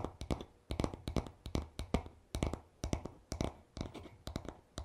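Short fingernails tap and scratch the smooth, solid wooden back of a paddle hairbrush. The result is a quick, irregular series of dry, short clicks and knocks with a woody low body and brief scratchy rasps between them, each dying away almost at once.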